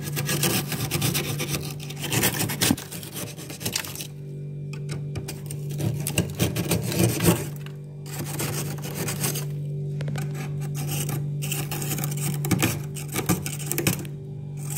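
The edge of a steel ladle, held in the fingers, scrapes a thick, solid layer of white frost and ice off the underside of a freezer compartment ceiling, an abnormal ice buildup. Repeated bright, rasping scrapes come in bursts over a steady low hum near 176 Hz. The scraping fades into brief quieter pauses around 4, 8 and 14 seconds.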